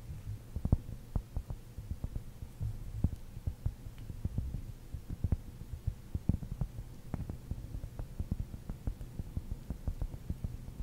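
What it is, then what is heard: Cork ball. Long nails and fingertips scratch and tap a large rounded cork ball close up. A steady run of short, dull taps and soft scratching sits over a low, constant hum, with almost all the sound in the low range and each tap dying away almost instantly.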